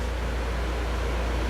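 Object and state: Nothing is struck.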